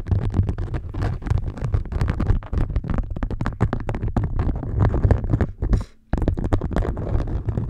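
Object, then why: Beeswax-coated cotton food wrap. Long nails scratch and tap an orange beeswax-coated cotton food wrap draped flat over the top of a microphone. Rapid crinkly scratching and tapping on the waxed fabric give a dense, heavy low thumping with sharp, brief attacks. The sound pauses for a moment near the end before resuming.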